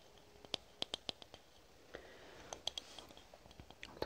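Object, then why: Aluminum spray can with plastic cap. A red aluminum spray can with a plastic cap is tapped and scratched with long nails. Quiet, sharp, bright clicks ring briefly around 3.3 kHz, with soft scratching between the taps.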